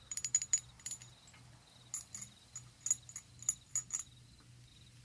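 Long acrylic nails tap and scratch a decorative, hand-sized, hollow ribbed red glass bottle that appears empty and has a small metal bat charm hanging from its neck. Around fourteen quick, bright clicks with a thin, high glassy ring come in loose clusters, with a faint scratchy hiss between them over a low, steady hum.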